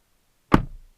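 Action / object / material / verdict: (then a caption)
strike / car door, metal / metal / solid. The driver's door of a 2022 Kia Stinger GT1 is shut from inside with a single low, dull thud followed by a short fading rumble. The closing sound is judged very solid.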